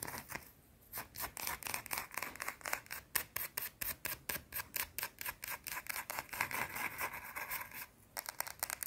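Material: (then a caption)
Soap. A round, solid white soap bar held in the fingers is scratched fast with long teal nails, producing quick, dry, bright scratching strokes in a rapid, uneven rhythm. The strokes pause briefly near the end, then resume quickly.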